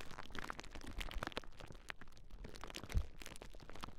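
A large clear plastic bubble wrap sheet is held across Rode NT5 microphones while fingertips and nails press and pop the bubbles. The result is a steady run of quiet crinkling crackles and sharp little pops with a low, thumpy body, and one louder pop near the three-second mark.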